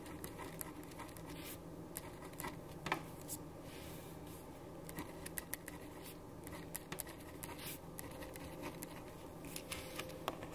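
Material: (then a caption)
Paper. A black ballpoint pen writes on a white paper sheet resting on a wooden desk. Quiet, steady scratching is broken by short, sharp ticks of the pen tip against the paper, with a faint low hum underneath.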